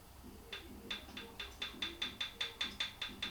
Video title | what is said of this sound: Triumph Bonneville T140: checking valve rocker clearance | Hopefully you can hear that tapping. There's a gap there.